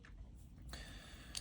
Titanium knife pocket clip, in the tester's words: notice you hear this like ting sound